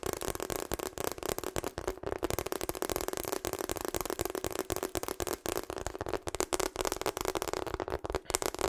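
Long acrylic nails tap rapidly on the surface of a pink, hollow rubber hot water bottle held up in front of the microphone. The result is a dense, steady stream of short, dry clicks with a faint resonance around 360 Hz.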